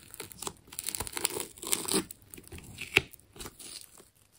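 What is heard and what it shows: The tip of a metal scalpel cuts into and tears the layers of a hand-held, fist-sized solid ball wound from blue plastic tape. It makes a series of short, bright crackling and tearing bursts with little low end, with one sharp snap near the three-second mark.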